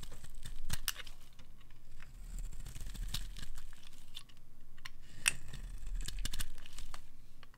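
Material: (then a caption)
Soap. A solid oval bar of dry blue Fa soap, held in the palm, is shaved with a metal utility knife blade. Steady dry scraping and crisp crumbly crackles are heard as flakes crumble off, with a low rumble underneath and sharp bright clicks scattered throughout.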